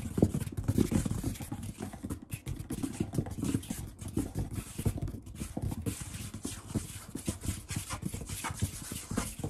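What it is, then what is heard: Wooden tabletop. Fingertips and a palm quickly tap, pat and rub the surface of a large brown wood-grain table, a solid slab of wood or wood veneer. The result is a fast, dense stream of dull, low knocks with very short decay, mixed with soft brushing scrapes between them.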